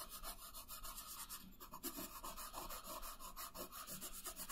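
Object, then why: Paper sheet on a wooden table, rubbed with a wooden colored pencil. A wooden colored pencil shades a thin paper coloring page resting on a wooden table. Quick, steady back-and-forth strokes make a soft, continuous scratchy rasp with bright, papery hiss and a faint low rumble beneath.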